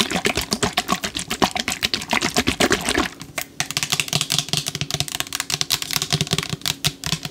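A green-topped plastic spray bottle, partly filled with yellow liquid, is tapped rapidly with long acrylic nails. The result is a fast, continuous run of about 44 crisp, bright plastic clicks that die away almost instantly, with a brief lull just after the three-second mark.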